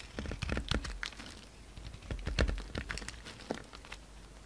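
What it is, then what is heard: Bar soap being shaved. A hand-sized solid lilac bar of soap with glitter edges, held in the palm, is shaved and scraped with a utility knife blade, and flakes fall off. Quick, dry scraping clicks and crisp crackles come in uneven bursts over a low, soft rumble, with a bright edge on the sharper strokes.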